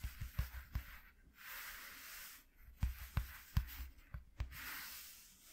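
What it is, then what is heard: Corrugated cardboard sheet. Short nails scratch and rub along the ridges of a flat white corrugated cardboard piece lying on a dark cloth, worked with both hands. Quiet, dull low taps alternate with soft, airy scratching swells that rise and fade between them.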